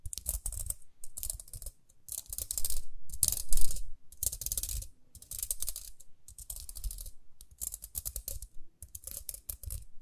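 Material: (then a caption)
Plastic. Long nails scratch the ridged rim and dark bristle face of a small round pink plastic hairbrush in quick bursts of dense, crisp clicking and bright scratchy hiss, with a soft low rumble beneath. Short pauses separate the bursts, and the scratching is loudest and most continuous in the middle of the clip.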